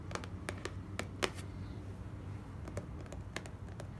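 Long fingernails of both hands tap quickly on a small, hollow, closed white cardboard gift box. The result is a scattered run of short, dry, bright clicks with almost no ring, over a low background rumble.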